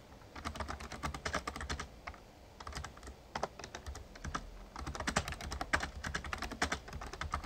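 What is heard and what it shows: Fingertips of both hands type rapidly on an RGB-backlit plastic Razer Ornata Chroma membrane gaming keyboard with a hollow casing. Quick bursts of key taps come in uneven runs, with short lulls, and each tap has a soft, low, hollow thud under a bright clack.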